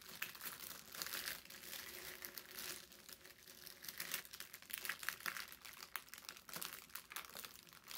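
A thin sheet of brown parchment paper is pressed and rubbed against a table with the palms, then lifted and crinkled. The result is a quiet, continuous bright crinkling and rustling with sharp crackles and almost no low end.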